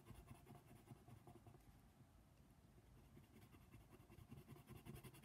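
A paper coloring book page lies flat while a hand colors small spots with the tip of a brown colored pencil. Short, quiet scratching strokes repeat unevenly over a soft low rumble.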